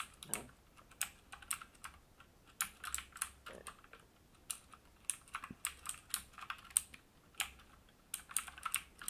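Fingertips of both hands type steadily on a full-size AUKEY KM-G3 mechanical gaming keyboard with black plastic keycaps and a metal plate, resting on a wooden desk. Sharp, bright key clicks come in quick irregular bursts, each dying away almost instantly over a quiet background.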